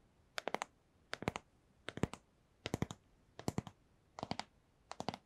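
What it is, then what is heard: Small cardboard box tapped with fingernails. A small, hollow, rigid white cardboard AirPods box, held in one hand, is tapped with long nails. The tapping comes in seven evenly spaced bursts of three or four quick, dry clicks each, with a hollow low thump under the bright taps and short quiet gaps between bursts.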